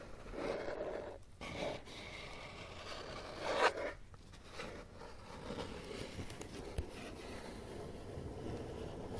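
Fingertips and nails tap and scratch the top and far side of a closed, hollow, empty brown corrugated cardboard box resting on carpet. Dry, rasping scrapes, almost like a zipper, run nearly continuously, broken by a few sharper, hollow-sounding taps.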